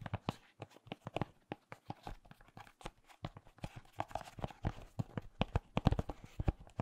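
A small, glossy orange decorative pumpkin with a green stem, apparently glazed ceramic, is held in one hand and tapped with the fingertips of the other. About thirty quick, soft taps come in an uneven, rapid stream, each a short dull knock that dies away almost at once. The sound is quiet and mostly low.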